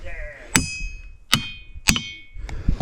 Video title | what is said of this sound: The Strange Ringing Rocks of Montana! | Well, there you have it. Ringing rocks.